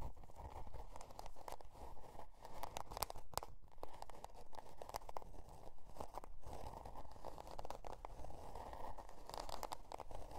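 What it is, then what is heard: Cardboard notebook cover. A spiral-bound notebook with a scale-pattern cardboard cover, resting on faux fur, is scratched with long dark nails. Quiet, continuous rasping scratches with dry crinkly texture repeat steadily throughout, heavy in low rumble with a band of mid-range scratch noise and short bright ticks.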